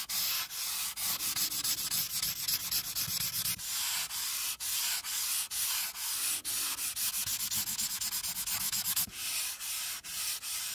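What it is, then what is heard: Marker coloring on paper. A pink marker tip is rubbed back and forth along the border of a flat paper coloring sheet resting on a clipboard, coloring it in. The result is a steady, bright, hissy scratching made of quick strokes, with brief dips in loudness where the marker changes direction.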